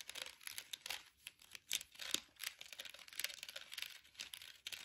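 A small clear orange plastic air freshener jar filled with gel beads and topped with a flower-shaped lid is held in the hands and tapped and scratched with long acrylic nails. The result is a quiet, bright, crinkly stream of quick clicks and scratchy rustles with no low end.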